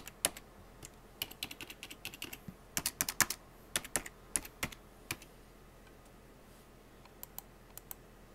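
A full-size black plastic computer keyboard with hollow keycaps is typed on rapidly by fingertips with painted nails, producing bright, sharp key clicks. The clicks come in dense bursts for about five seconds, then thin out to a few scattered taps as the hand leaves.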